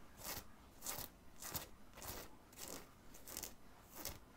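Fingertips and nails scratch the printed area of a black cotton graphic t-shirt, worn under an open black zip hoodie, in short strokes over the soft fabric of the chest. Each stroke makes a soft, bright, crackly scraping burst with a slight low thump underneath, repeating at a loose, unhurried pace with quiet pauses between.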